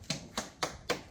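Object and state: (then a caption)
Solid fiberglass hull, no void. A small hammer taps the bottom of a catamaran's fiberglass hull with gel coat during a haul-out inspection for voids, which are wet areas or separation between gel coat and fiberglass. Four sharp, hard taps with a bright high-frequency crack and a short ring are heard, not a dull thud. The hull sounds solid, with no void.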